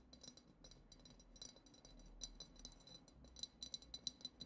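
A single long acrylic nail taps on the side of a hollow, clear glass goblet decorated with silver glitter swirls. The result is a quick, uneven series of light, high clinks that stop almost at once, over a faint low hum.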